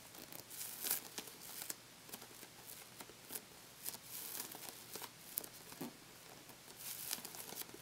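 A small, hollow, inflated purple toy football with a pebbled synthetic rubber or leather-like skin is held close in both hands while fingertips and short nails press, tap and scratch its textured surface, likely pressing and pulling off for sticky sounds. The result is a quiet run of bright, crackly peeling and crinkling bursts mixed with soft taps, with almost no low end.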